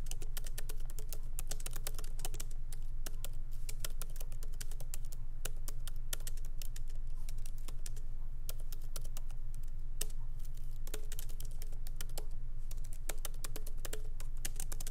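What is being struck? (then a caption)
Laptop keyboard with plastic keys. Both hands type rapidly with their fingertips on a MacBook Pro keyboard, with low-profile plastic keys set in a solid aluminum body. Quick, irregular clicks with very short decay sound over a steady low hum throughout the clip.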